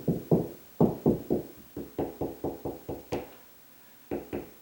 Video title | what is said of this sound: Ceiling Fan Install MasterClass Made Easy/Part 12 | Higher pitch, and I can tell it's more solid right there.